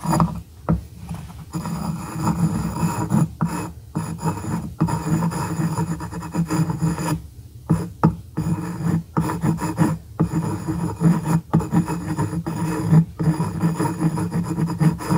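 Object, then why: Small light-wood block scratched with a glass pen tip. A small, solid light-wood cube, held by fingertips on a wooden gourd-shaped board, is scratched with the pointed tip of a glass dip pen. The result is a steady, raspy scraping with a low hum-like body, broken by brief silent gaps as the strokes stop and start.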